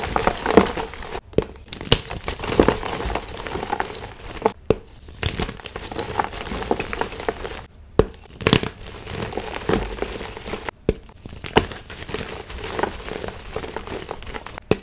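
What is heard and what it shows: Solid painted gym chalk blocks of magnesium carbonate, including a heart-shaped piece, are squeezed and crushed between palms and fingers in a plastic bin until they crumble into white powder. The sound is a continuous crunchy, crinkling crumble with many small sharp cracks and a few louder crunches over a low, dusty rustle.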